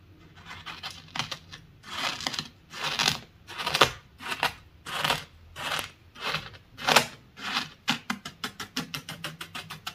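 A wooden honey dipper, held by the fingertips, is poked and scratched into a loose, dry, solid bed of small beach pebbles and shell grit. The result is a series of bright, gritty crunching scrapes, with slower rasping strokes giving way to a quick run of short taps at the end.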